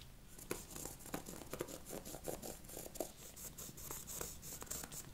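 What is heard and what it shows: A small flat red wallet of textured faux ostrich leather, held in latex-gloved hands, is scratched with a thin wooden stick. The result is a quiet, continuous run of dry, rapid scratching and tapping with bright, crisp high-end detail. Sharper clicks stand out against the soft rustling throughout.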